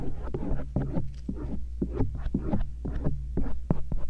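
A thin stainless steel earpick scratches around the lobe and rim of the soft silicone ears of a binaural microphone. It makes a rapid series of short, muffled, low scratching strokes over a steady low hum, with almost no bright content.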